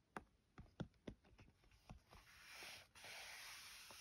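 Long gold-tipped nails tap and scratch on a small, hollow, closed white cardboard phone case box printed with black letters, tracing the letters with some fingertip tapping. Several sharp, dry taps and short scrapes come first, then give way to a steady, bright scratching hiss that pauses briefly before continuing.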